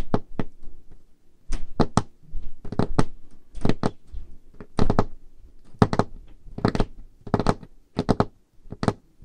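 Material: Wood.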